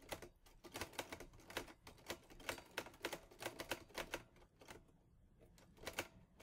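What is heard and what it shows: Fingertips type on the keys of a teal metal Olivetti Lettera 22 portable typewriter, producing a quick, uneven run of sharp, bright clacks that die away almost instantly. The typing eases into a quieter stretch just after the midpoint, then a few more crisp strikes follow near the end.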